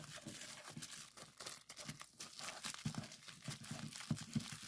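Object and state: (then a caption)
Bubble wrap being popped. A small sheet of clear plastic bubble wrap is rolled up and squeezed between the fingers to pop the bubbles. A steady, irregular stream of crinkling plastic is heard, with sharp, quickly decaying pops standing out here and there. No bubble pop rings on; each one cuts off almost at once.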